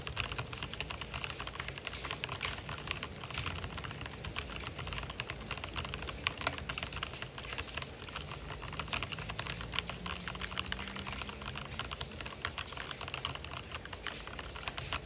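Fingertips type rapidly on an RGB-backlit mechanical keyboard with white and black plastic keycaps. A dense, steady stream of bright, short plastic clicks and clacks runs throughout at an even level, with a faint low tone rising underneath midway.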